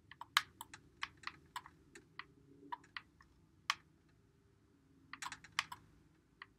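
Fingertips press and click the buttons and thumbsticks of a white Xbox One controller with a hollow plastic body, held in both hands. The result is an irregular run of quiet, sharp, bright plastic clicks that stop dead, with a few clustered bursts and pauses between them. A faint low background noise sits underneath.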